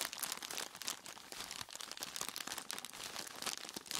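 A large clear plastic bag full of ice cubes is squeezed and scratched by skeleton-claw gloved hands with long tips. Dense, bright crinkling and crunching rustles continue throughout, with little low end.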